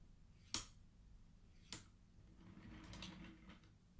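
Fingertips of one hand slide the colored wooden beads on the top rows of a wooden abacus against each other. Two sharp, bright wooden clacks ring briefly, followed by a softer, rattling stretch of beads sliding and knocking together.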